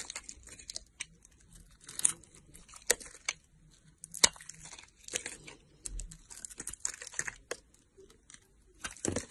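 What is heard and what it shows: A metal utility blade scrapes and cuts chunks off a partly carved solid red soap bar held in the hand. The result is quiet, irregular bursts of bright, crisp scraping and crunching with short sharp snaps between them.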